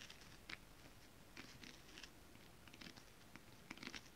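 Long acrylic nails on both hands tap a flat, iridescent holographic mermaid-scale foil-print stretch fabric. Light, quiet clicks with a bright, crisp edge arrive in loose clusters over a soft, low background hiss, each dying away almost at once.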